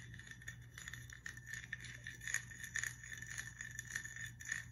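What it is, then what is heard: Glass whiskey bottle. A glass whiskey bottle is tapped and scratched, giving quick, clinking glass taps with a bright ring near 1.8 kHz that fades almost at once. A steady low hum runs quietly underneath the whole time.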